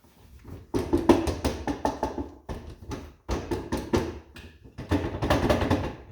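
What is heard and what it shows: A four-drawer Singer wooden sewing machine table is tapped and rattled in bursts to check its drawers for contents. The drawers give hollow, quick-decaying knocks and rattles, and they sound empty.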